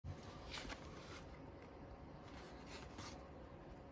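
A thin wooden stick scrapes the latex coating off the letter area of a flat, thin cardboard Michigan Cashword scratch-off lottery ticket held flat by the fingers. Soft, steady scratching and rubbing continues throughout, with low rumble underneath and a few brighter scraping strokes near the start and end.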